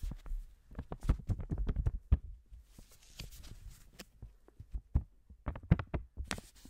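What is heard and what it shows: A single thin blue paper banknote is held close to the mic in black-gloved fingers while it is crinkled and flicked. Soft, quick crinkles and dull taps sound mostly low, with brief bright rustles between them.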